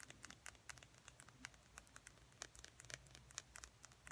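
A small, slim, hollow plastic lip gloss tube with a silver metallic cap is held in both hands and tapped and scratched along its length with fingernails. A quiet, rapid string of bright, dry clicks and scratchy patter stops instantly with no ring, over a faint low hum.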